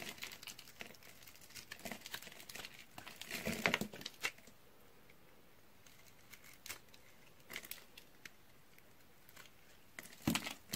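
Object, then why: Bar of soap. A pink and white striped dry bar soap, already scored into a grid and held in one hand, is cut and scraped with a utility knife blade while long-nailed fingers press the scored surface. Bright, dry crunching and crackling clicks come in busy clusters, loudest early on and again at the end, with quieter gaps between. Flakes and chunks crumble off the bar.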